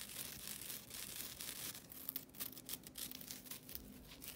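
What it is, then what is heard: Nylon scouring pad. A flat, thin, solid green nylon scouring pad is rubbed and scratched with long nails and fingertips. The result is a bright, rasping, crackly scratching texture with quick, dense strokes and little low end.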